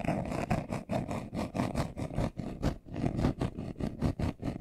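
A brown leather-covered glasses case, hand-sized, hollow and closed, is held in both hands while short nails and fingertips scratch its surface fast. The result is a quick, uneven run of dull, rustling scratch bursts, mostly low and muffled with little brightness. Each burst stops short with almost no ring.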